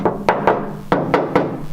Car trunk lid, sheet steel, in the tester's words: it just doesn't sound like there's like any quality whatsoever in that thing